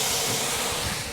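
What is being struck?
Nothing is struck.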